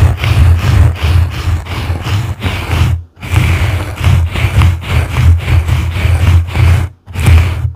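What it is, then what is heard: Foam microphone windscreen being brushed. Two blue plastic-bristle brushes scratch and brush a soft, porous yellow foam windscreen on a microphone from both sides. Each stroke makes a dense, muffled low rumble with a scratchy, bristly hiss on top. The strokes repeat rhythmically, with brief silent gaps near 3 and 7 seconds.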